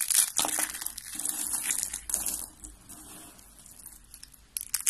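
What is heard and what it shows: Hands squeeze and crush purple and lilac dry soap flakes and curls in their fists, making dry, bright crunching and crinkling. Loud bursts of crackle come at the start, around the two-second mark and at the end, with quieter rustling between.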